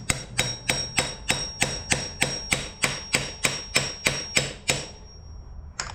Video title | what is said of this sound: Yamaha Raptor 700r Brought back from the Grave! | lightly tap it on good and you can hear when it kind of hits like it's all the way on